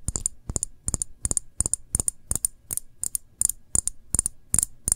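Fingernail tips tap and scratch the bare glass body and bottom of a full glass jam jar held on its side. Quick, dry clicks fall in steady clusters of two or three, each with a bright, high glassy tick and a soft low thump, and they die away almost instantly.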